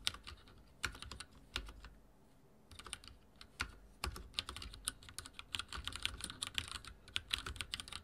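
Fingertips type on a backlit mechanical keyboard with dark plastic keycaps and a silver frame. Quick, bright, clicky keystrokes come in irregular bursts, with a short lull near the two-second mark before the typing picks up again and grows denser. Each click is crisp and dies away almost instantly.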